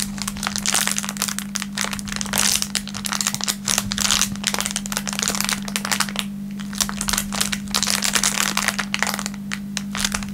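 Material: Plastic film.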